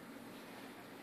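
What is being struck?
Nothing is struck.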